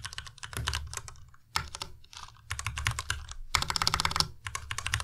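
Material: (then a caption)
Plastic. Fingertips type on a white Ducky Miya Pro tenkeyless mechanical keyboard with plastic keycaps. Rapid bursts of bright, clacky keystrokes with a low thock beneath them are broken by brief pauses. Each click dies away almost instantly.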